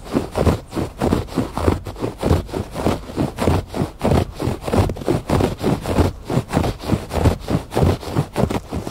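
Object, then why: Woven fabric rug. Fingers scratch back and forth across the pile of a textured woven fabric rug lying on a porch floor. About sixteen soft, rhythmic strokes are heard at a steady pace, each a dull, low rasp with little high-end brightness and almost no ring.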